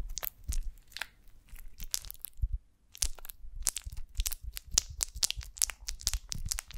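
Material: Beeswax.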